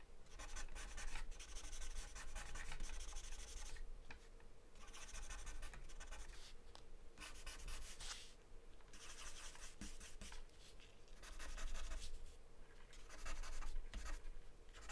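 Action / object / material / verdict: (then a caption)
scrape / charcoal or graphite stick on taped drawing paper / paper / none. A dark charcoal or graphite stick rubs and scratches across a sheet of thin, flat white drawing paper taped down, using rapid strokes. The result is a steady, dry, scratchy rasp that comes in bursts with short pauses, over a faint low hum.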